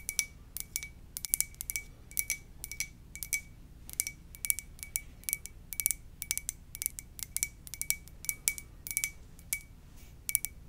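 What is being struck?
Glazed ceramic mug tapped with fingernails.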